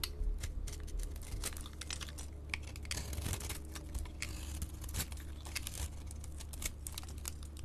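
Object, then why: Bar of soap scraped with a blade. A solid soap bar with a blue glitter coating and pink interior is held in the palm and scraped with a utility-knife blade. Dense, crisp scraping and crackling bursts come in quick succession over a steady low hum, each short and bright with almost no ring. Thin flakes are shaved from the bar throughout.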